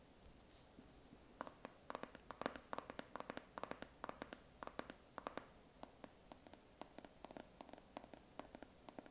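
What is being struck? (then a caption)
Plastic jar lid. Fingernails scratch and tap on the coconut-label lid of a round white plastic body butter jar, likely full. A brief bright scratchy rustle opens the clip, followed by a steady run of short, dry clicks and taps that die out instantly against a quiet background.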